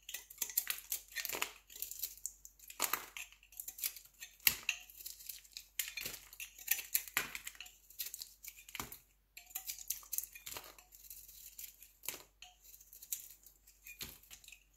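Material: Soap.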